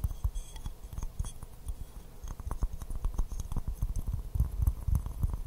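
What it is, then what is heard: Porcelain teacup. Fingernails tap rapidly and irregularly on an empty white porcelain teacup with a pink rose print, held upside down in both hands. The taps are short, dull clicks with a low, hollow body and almost no ring, growing slightly louder and busier toward the end.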